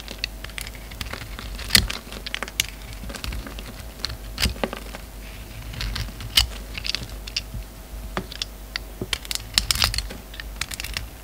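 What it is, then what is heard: Bar of soap being shaved. An oval bar of solid soap with a purple pearlescent coating and black interior is held in the hand and shaved with a utility knife. The blade produces a rapid, uneven run of crisp, bright clicks and crackling scrapes over a low steady hum. Each cut ends almost instantly.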